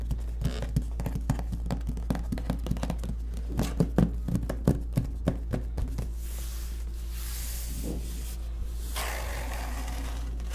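Fingertips and short nails tap, rub and scratch across the printed top of a large, hollow corrugated cardboard shipping box. A quick run of dry, hollow ticks and scratches fills the first six seconds, then gives way to softer, bright, continuous rubbing hiss. A steady low hum runs underneath the whole time.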